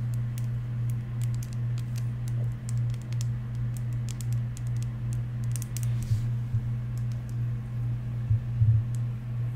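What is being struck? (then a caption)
Small hollow plastic mascara tube tapped with fingernails. Long nails tap and scratch along the length of a small, hollow, yellow plastic Maybelline Mega Volume mascara tube. They make quick, irregular, bright clicks and light scratching. A steady low hum runs underneath throughout.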